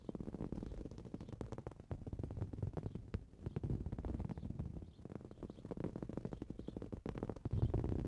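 Fingernails quickly scratch and tap a green woven fabric cushion. The result is a dense, continuous stream of soft, dull scratches and light taps, mostly low and muffled, with little high brightness.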